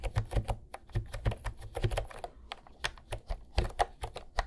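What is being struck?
Plastic round-key keyboard.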